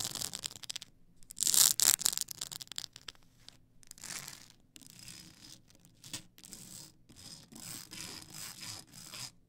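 Long acrylic nails scratch and rub the ridged side of a tall stack of blank polycarbonate CD-R discs on a plastic spindle. Bright, dry rasping strokes come in quick, irregular bursts, loudest early on. Softer scratching and rubbing follow through to the end.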